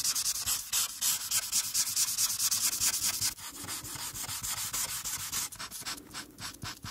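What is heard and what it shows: A marker tip is rubbed back and forth across a flat paper coloring page, filling in the background near a character's hair. The result is a steady, bright, hissy scratching in quick rhythmic strokes, lighter and more broken toward the end.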